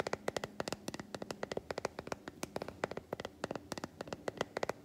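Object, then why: Solid milk chocolate bar. Long white fingernails tap quickly on the squares of an unwrapped solid milk chocolate bar held up in the air. About 31 short, crisp clicks come in an uneven, rapid patter, each dry and bright with almost no ring, over a quiet background.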